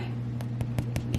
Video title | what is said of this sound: Elaines Fluffy Crustless Sandwich Bread {RECIPE VIDEO} | tap the bottom it sounds kind of hollow